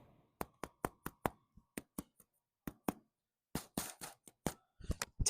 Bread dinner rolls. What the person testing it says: they sound sort of hollow so these are perfect